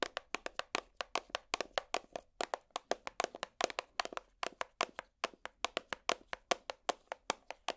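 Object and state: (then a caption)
Clear plastic compartment box. A small, hollow, empty clear plastic organizer box with compartments is held in the hand and tapped with long plastic finger picks. About 42 quick, dry clicks follow one another in an uneven rhythm, each with a hollow body around 680 Hz, a bright edge, and almost no ring.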